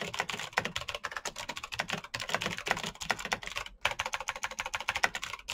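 Fingertips of both hands type fast on the keycaps of a black plastic full-size Razer BlackWidow mechanical keyboard with clicky green switches, RGB backlight and a hollow case, resting on a desk mat. The result is a rapid, dense stream of sharp, bright clicks centered around 2 kHz, each dying away almost instantly, with little low end and a brief pause near 3.8 seconds.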